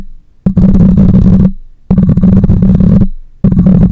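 Long nails scratch the metal mesh grille of a black microphone in three separate bursts, each a dense, raspy scrape. Close contact makes the sound boomy and low-heavy with a steady low hum, and it falls back to near silence between bursts.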